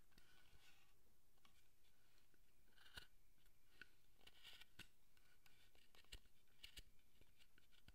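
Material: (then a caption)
Wood. A steel carving chisel makes short paring cuts near the head of a solid, unpainted wooden guardian statue held by hand, with wood shavings on the bench. The clip is quiet and steady, with many crisp, bright cutting ticks and faint scraping throughout.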